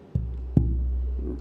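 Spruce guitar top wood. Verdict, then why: Resonant. A piece of Sitka spruce guitar top wood is tapped twice, each tap giving a low, resonant thump centered around 117 Hz that sustains and rings on between and after the taps. The wood rings well, marking it as stock that should make a loud, good-sounding guitar.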